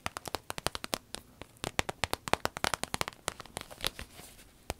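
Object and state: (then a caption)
Vinyl zip pouch, tapped and crinkled. Fingernails tap a small, hollow striped vinyl zip pouch in rapid, sharp, bright clicks with almost no ring. Then hands fold and squeeze the pouch, and the vinyl crinkles in a dense crackle.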